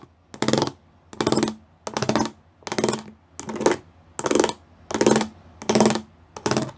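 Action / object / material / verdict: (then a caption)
tap / plastic panel with raised pyramid studs / plastic / none. Fingertips and nails tap the small square pyramid studs covering a flat grey plastic panel. Nine separate bursts of rapid, dry plastic clicking come at a steady pace, each bright and crisp with a faint low tone underneath. There are short quiet gaps between the bursts.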